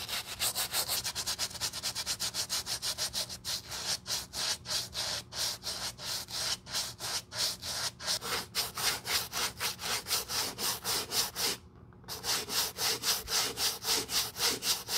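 A white leather sneaker with a rubber sole is held in gloved hands while its sole is scrubbed with a wooden-backed bristle brush and foam. About 49 quick, bright, hissing back-and-forth brush strokes repeat at a steady pace, with a brief pause around 12 seconds before the scrubbing resumes.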